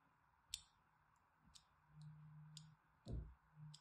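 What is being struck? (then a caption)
Bar of soap. A solid rectangular purple-and-white striped bar of soap, held in one hand with long manicured nails, is scored with a thin needle-like blade, leaving fine crosshatch lines. Short, dry, bright clicking scratches are heard, with soft low rumbles between them.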